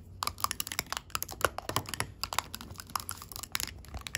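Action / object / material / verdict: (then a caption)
tap / small metal tea tins with clear plastic window lids / metal, plastic / none. Long pink acrylic nail tips tap rapidly on the clear window lids of small round gold metal tea tins filled with loose tea. The result is a quick, uneven series of short, bright clicks with a light ring around 1.4 kHz. Each tap dies away almost instantly, with little low end.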